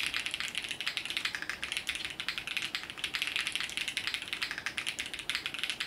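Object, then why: Mechanical keyboard with plastic keycaps. Fingertips of both hands type continuously on a compact mechanical keyboard, the Sunset 80, with multicolored plastic keycaps. About 45 quick, dry keystrokes rattle out in a steady stream. Each is a bright, clacky tap centered around 2 kHz, with almost no low end and very little ring.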